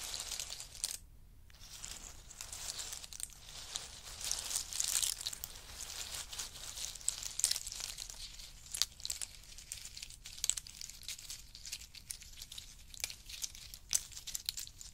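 Hands rake through a pile of in-shell pistachios, then scoop up handfuls and let them drop and rattle. The result is a quiet, dense stream of bright, crinkly clicks and rattles with short sharp peaks, dipping briefly near the start.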